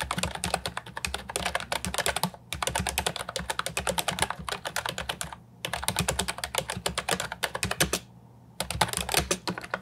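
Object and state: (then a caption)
Plastic keyboard with round typewriter-style keycaps. Fingertips type continuously on a compact Ajazz 308I keyboard with plastic, round typewriter-style keycaps. They make rapid, bright, clacky keystrokes in steady bursts, broken by brief pauses. A faint low hum sits underneath.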